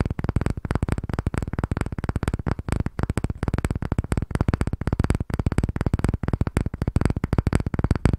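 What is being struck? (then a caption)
Light wooden block. A palm-sized, solid pale wooden block with a curved edge is held in both hands while fingertips and nails tap and scratch rapidly across its surface. The result is a fast, steady stream of short, dry, low knocks that die away almost instantly, with little brightness.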